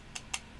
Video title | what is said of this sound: The Sigelei TOP 1 230W Mod | it's a very hollow plastic button you could just tap on it and you can feel how cheap and plastic the button is